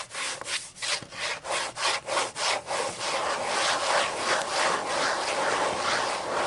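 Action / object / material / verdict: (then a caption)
scrape / open paper book pages scratched by fingernails / paper / none. Long matte green and black nails scratch and rub the white paper pages of a thick book lying open. Quick, regular back-and-forth strokes make a dry, bright rasping that starts as separate swipes and then blends into a steadier, continuous scratching.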